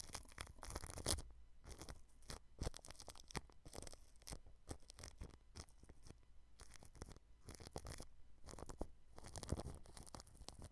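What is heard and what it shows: A paintbrush sweeps across the mesh grille of a white microphone wrapped in clear cling film, making close, crinkly rustles and scratchy brushing strokes. The bursts come in rapid, uneven runs with brief pauses between them. A heavy, low, muffled thump sits under the bright plastic crackle.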